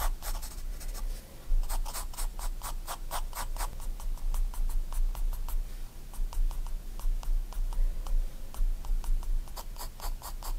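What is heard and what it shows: A graphite pencil draws fine detail strokes on a spiral-bound paper sketchbook page, making a rapid series of short, bright scratches. The strokes come in quick bursts over a steady low hum.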